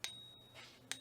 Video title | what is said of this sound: 1st National Reserve - First Freedom Financial Seminar | ring tests where you hear what silver sounds like